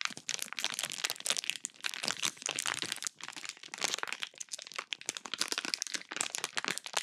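A small sealed clear plastic bag full of pink slime is held close to the microphone while fingers with long pink nails squeeze and crinkle it. The sound is dense, bright crackling and crinkling, with rapid sharp snaps and almost no low end.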